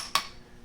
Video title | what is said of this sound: How To Fix A Hollow Tile Without Removing The Tile - Step By Step | it's good here it was always good